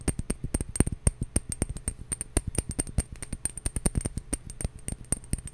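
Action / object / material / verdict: tap / glass bottle / glass / none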